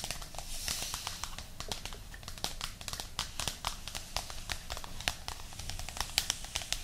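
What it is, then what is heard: Paperback book. Long nails scratch and tap the top cover of a thick paperback book lying flat with its spine toward the camera. A rapid series of sharp, bright clicks mixes with dry, crinkly scratching over a soft low rumble, and each tap dies away almost instantly.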